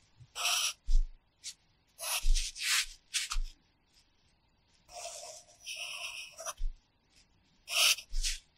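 The graphite tip of a red wooden pencil scratches across an open paper practice notebook lying flat, writing characters in repeated short strokes. Each stroke is a bright, raspy scratch, some with a soft low thump, separated by brief silent pauses.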